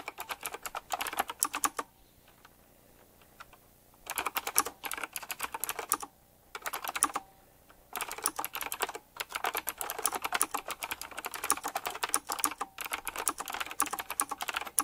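A black retro typewriter-style mechanical keyboard with round plastic keycaps and chrome metal rims is typed on quickly with fingertips. Bursts of fast, sharp, bright clicky keystrokes are separated by brief pauses near 2 and 6 seconds, and the typing runs nearly continuously from about 8 seconds on.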